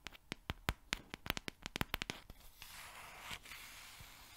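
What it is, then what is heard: Cardboard oat flakes canister. A yellow cylindrical cardboard oat flakes canister, held close to the mic, is tapped and scratched with long nails and shaken. A quick run of sharp, bright clicking taps comes first, then gives way to a steady, hissy scratching rustle.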